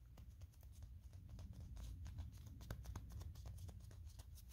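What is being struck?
Small molded plastic toy figure.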